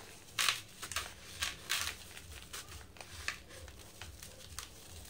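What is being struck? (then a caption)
Sand-cement block. Hands with green nails break and crumble a round, dry yellow sand-cement block resting over loose powder in a blue bucket. Short, bright, dry crunches and crumbly crackles come in irregular bursts. A faint low rumble sits underneath.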